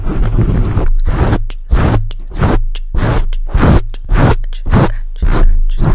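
Fingertips of both hands scratch a black foam microphone windscreen in repeated deep, rough strokes. Each pass makes a heavy, rumbling, crackly burst with a strong low hum beneath it, separated by brief gaps of quieter hiss.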